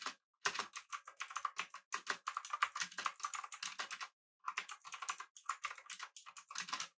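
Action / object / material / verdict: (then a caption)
tap / mechanical keyboard with metal case and plastic keycaps / plastic, aluminum / none. Fingertips of both hands type rapidly on a full-size backlit typewriter-style mechanical keyboard with blue switches, an aluminum body and round plastic keycaps. Dense bursts of sharp, bright clicks run steadily with one brief pause near four seconds. Each keystroke snaps with a crisp click and dies out almost instantly.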